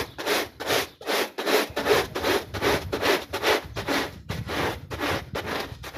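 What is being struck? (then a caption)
Small wet textile pile rug and plastic bristle brush. A plastic bristle brush scrubs back and forth across a small, wet, soapy, foot-shaped textile pile rug. It makes about 14 rhythmic, bristly scratching strokes at a steady pace of roughly two to three per second. Each stroke is a broad, hissy rub with a faint midrange tone and a bright fizz on top.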